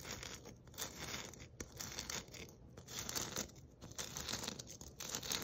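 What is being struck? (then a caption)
Glitter-coated foam or plastic ornament ball. A palm-sized white glitter-coated foam ornament ball, held in both hands, is scratched and rubbed with long nails. The result is a continuous crackly, papery scratching with bright hiss concentrated above 2 kHz, rising and falling in short uneven strokes.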